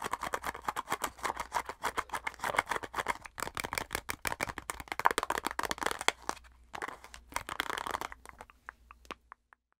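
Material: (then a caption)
Plastic. Long nails tap and scratch fast on a filled white plastic cosmetic squeeze tube. The result is a dense, irregular stream of short, dry clicks and scrapes centered in the midrange near 940 Hz, with a brief lull around six and a half seconds. It then thins to a few sparse taps before stopping.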